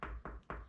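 Three taps on a spot where plasterboard is glued directly to a load-bearing wall give short, dull, solid knocks with little ring. The sound is solid because the glue leaves no air gap behind the board.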